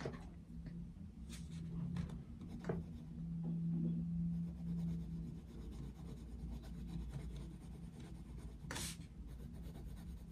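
A wooden coloured pencil shades a paper colouring book page resting on a desk, making repeated soft rubbing strokes across the paper. The scratchy, low, steady rasp continues throughout at a quiet level, with a brief brighter hiss near the end.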